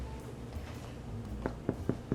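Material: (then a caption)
Bread. A freshly baked Danish cinnamon bread loaf, turned upside down out of its pan, is knocked on the bottom four times. Each knock is a short, dull, low thud that dies away almost at once. The hollow sound shows the loaf is baked all the way through.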